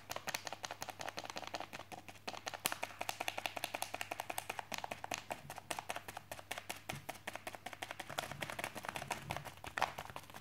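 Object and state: Plastic mailing bag.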